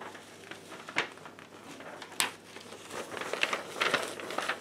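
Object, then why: Sheet of paper. A white paper sheet, held upright, is bent and crinkled by hands in black lace gloves. Soft, dry crinkling runs throughout, with two sharp crackles near the start and denser, brighter crackling toward the end.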